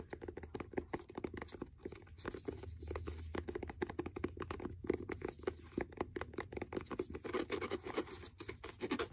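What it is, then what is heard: Faux leather notebook cover scratched. Fingernails scratch a blue faux leather hardcover notebook with a stitched edge, working over the cover and the page block. It makes a steady run of quick, dry scratching strokes with a soft midrange body, faint high hiss, and no ring after each stroke.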